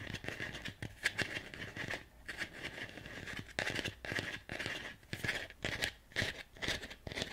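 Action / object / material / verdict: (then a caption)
scrape / ribbed ceramic plant pot / ceramic / none. Fingernails scratch and tap along the ribbed outer surface of a medium, hollow, empty white ceramic plant pot with vertical ribs. Irregular bursts of bright, rasping scrapes and short, dry taps carry a hollow ring around 1.7 kHz that dies away almost at once.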